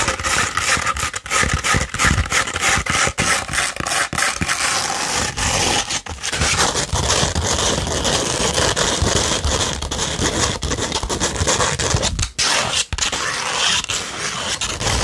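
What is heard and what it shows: A beige 100-grit sandpaper sheet, alternately rolled into a tube and held flat, is scratched by long pointed acrylic nails. The result is a dense, continuous gritty scraping with a bright, hissy edge and a low rumble underneath, broken by a few brief pauses between strokes.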